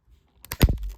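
A CGC plastic comic book grading slab, kept in inventory for several years, is twisted by hand and gives about five short, dull cracking snaps within a second. The case turns out to be already loose and is judged cracked.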